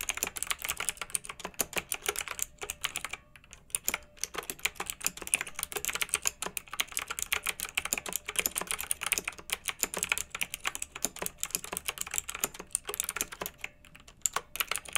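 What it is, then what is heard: Plastic mechanical keyboard with round keycaps. Both hands with long nails type on a pink backlit plastic mechanical keyboard with round typewriter-style keycaps. The result is a dense, steady stream of short, bright clicks and clacks for the whole clip. It pauses briefly near the 3-second mark and again near the 14-second mark.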